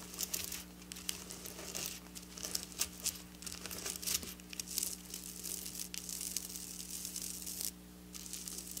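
Long black nails scratch across a flat silver sequin fabric, making a dense, bright crinkling and tearing rasp of rapid tiny clicks over a steady low hum. The scratching runs continuously with brief louder bursts and drops out for a short pause near the end before resuming.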